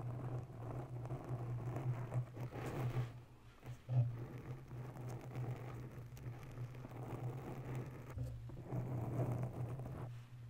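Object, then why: Foam microphone windscreen. Long bare nails slowly scratch the top and sides of a grey oval foam windscreen covering a microphone in a white holder. The result is a muffled, low scratching rumble over a steady low hum, with a brief dip in level just before a louder scrape near the middle.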